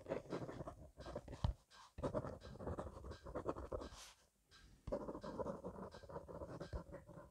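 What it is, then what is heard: Pen scribbling on notebook paper. A blue gel rollerball pen, held at the fingertips, scratches fast continuous cursive across the page of a thick paper grid notebook resting on a wooden desk. The result is a soft, dense, low scratching texture in quick bursts, broken by brief pauses near 1.6 s and 4.2 s.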